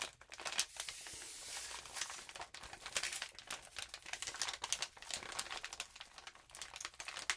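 A lined notebook paper sheet with a rainbow glitter patch lies flat while both hands rub and scratch it with long nails. The result is a bright, dry crinkling and scratching with rapid, sharp bursts and almost no low end.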